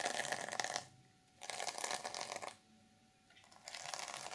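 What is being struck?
Sequin fabric journal cover.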